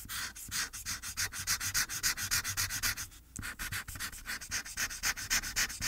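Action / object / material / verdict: scrape / felt-tip marker on a thin paper sheet / paper / none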